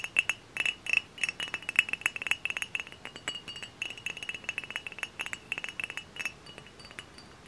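A hollow, dark brown glass hard cider bottle, held in hand, is tapped with fingernails and fingertips. Rapid, irregular clicks give bright glassy pings with a steady ringing tone near 2.6 kHz. Each tap dies away quickly.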